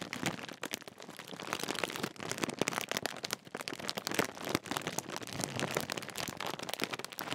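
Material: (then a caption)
Metallised plastic. A large Walkers crisp bag made of metallised plastic film has its top edge crinkled and squeezed with fingertips. The result is a dense, continuous run of sharp, bright crackles and crisp rustling over the full length, with little low end and no lingering ring.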